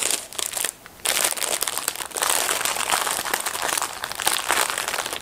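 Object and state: Plastic glove packet being torn open.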